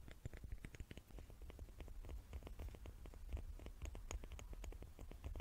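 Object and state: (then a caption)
Wooden cubes, tapped. Fingers tap on small wooden cubes in a quick, steady patter of soft, dry clicks. Each tap stops almost at once, over a quiet low hum.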